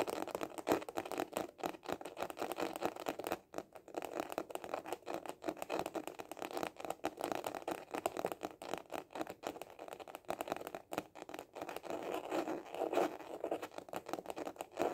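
A small hollow hard-shell glasses case with a printed cover is held horizontally and tapped fast with the fingertips. The result is a dense, continuous stream of quick, dry, hollow taps centered in the low midrange around 320 Hz, with little deep bass or bright top. Each tap dies away almost at once, with a faint rattly, scratchy texture throughout.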